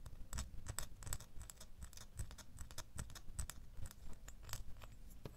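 A small solid metal door key, resting in a palm and then held in the fingers, is scratched with fingernails. The result is a quiet, steady run of short, dry scratching clicks with bright, high edges over a faint low rumble.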